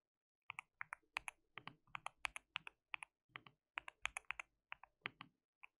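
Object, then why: Mechanical keyboard with plastic keycaps. Fingertips of both hands type continuously on a white mechanical keyboard with plastic keycaps. About 29 sharp, bright plastic clicks sound in quick, uneven bursts, each stopping almost at once with a clacky tone near 2.5 kHz. The overall level is soft.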